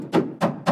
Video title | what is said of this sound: WELDING FAIL!! ❌ I set my Mk1 Escort on FIRE!! 🔥 🙁 | when I hit it with a hammer, it's solid. It's literally solid.